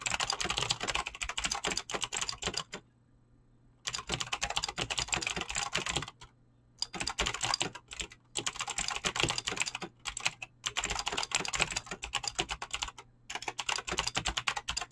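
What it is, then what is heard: Mechanical keyboard with PBT plastic keycaps. Fingertips type fast on a Razer BlackWidow mechanical keyboard with clicky green switches and pink-blue dyed PBT plastic keycaps. Rapid, bright, crisp clicks run in dense bursts, broken by a few short pauses of near silence. A faint low hum sits steadily underneath.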